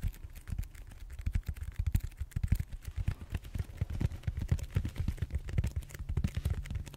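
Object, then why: Foam back roller. Fingertips and short nails scratch and tap quickly across the textured surface of a large, solid purple foam back roller held horizontally. The result is a dense, quiet stream of short, dull, low thumps with almost no brightness, each dying away almost instantly.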